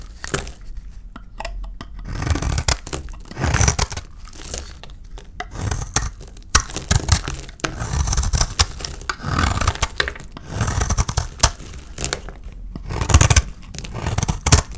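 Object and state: Dry soap bar.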